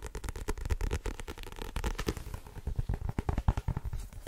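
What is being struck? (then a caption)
Paperback book with card cover. A blue-covered paperback book with a card cover and solid paper block is tapped quickly with fingertips and nails on the cover, then held overhead while the tapping continues. The result is a fast, uneven run of dull, low thuds and light clicks, each dying away almost at once.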